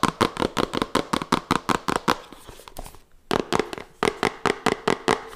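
Long fingernails tap rapidly on a small, hollow, red printed cardboard smartphone box held close to the mic, giving about 24 sharp, hollow, clicky taps with a brief mid-pitched resonance. The taps come in quick bursts, soften and briefly pause near the middle, then resume in a steady run until the end.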